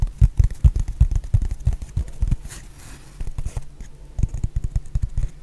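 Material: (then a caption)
Foam. Long painted nails tap and scratch a solid, hand-sized rectangular black foam block in quick, irregular bursts. The taps land as dull, low thuds with almost no ring, then ease into a quieter soft scratching stretch midway before the tapping picks up again.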